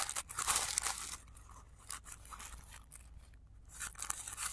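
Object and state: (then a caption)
Tissue paper flower. Fingers fold and crinkle the petal layers of a blue tissue paper flower resting on black cloth, with the sound played in reverse. Bright, dry paper crackles and rustles are loudest at the start, fade to soft scratchy rustling through the middle, and swell again near the end.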